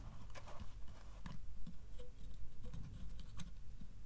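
Fingertips tap on the front face of a small, hollow wooden treasure box with metal straps, bands and a metal latch, lid closed, striking both the wooden panels and the metal bands. The result is a quiet, steady patter of soft, low, hollow knocks that die away quickly, with a few brighter clicks mixed in.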